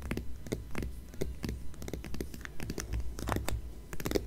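Long nails on both hands scratch rapidly over the glossy paper cover of a closed "Departures" magazine. Quick, irregular dry scratching strokes sound one after another, each a short bright rasp over a low rumble.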